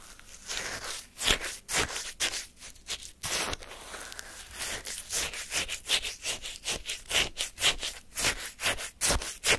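A wooden spoon digs and scrapes through icy granules of lemon shaved-ice sorbet in a paper cup held in hand. The result is a fast run of crisp, crunchy scrapes, bright and hissy, each with a sharp onset and almost no ring, repeating at an uneven rhythm.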